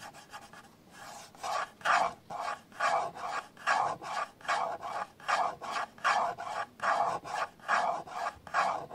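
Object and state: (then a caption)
Plastic camcorder body scratched with nails. Fingertips and nails scratch and rub the handle and side near the lens hood of a hollow black plastic camcorder body. A steady series of dry, raspy scratching strokes repeats at roughly one per second, with a hollow midrange scrape and a thin, bright hiss.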